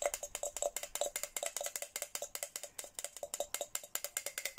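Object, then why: Plastic tumbler tapped with a plastic straw. A hollow white and pink Hello Kitty plastic tumbler is tapped with a red plastic straw in a quick, uneven run of about thirty light taps over nearly five seconds. Each tap is a short, dry click with a faint hollow tone around 580 Hz and a bright, crisp top, dying away almost instantly.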